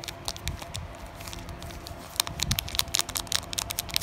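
Long natural nails tap and scratch across a flat, sealed Digimon Carddass EX-01 trading card pack in a thin glossy plastic foil wrapper. Quick, bright crinkly ticks and scrapes patter along with little ring. A low, soft rustle sits beneath, and the taps grow denser and sharper in the second half.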